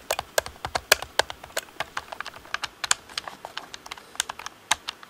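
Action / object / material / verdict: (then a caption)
tap / plastic game controller / plastic / none. Fingertips tap rapidly on the face buttons and hollow shell of a black plastic Xbox controller, producing about 26 short, bright plastic clicks in an uneven rhythm. Each tap is crisp and dies away almost instantly, with almost no low end.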